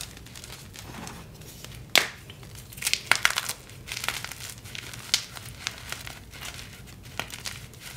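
Bare fingertips and hands crumble, squeeze and rub chunks of orangey-red dyed SPRI gym chalk (magnesium carbonate) into powder on a glass surface. Dry, bright crinkling and crunching fills the clip, with sharp crackling snaps standing out at about 2 seconds and between 3 and 3.5 seconds. Softer gritty rubbing runs in between as the pieces break down into powder.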